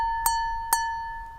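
A glass holding even less water than before, after more water has been removed, is tapped twice. Each tap brings out a clear, sustained ring pitched near 920 Hz with faint bright overtones. The ring, now at a different pitch, carries on steadily between and after the taps.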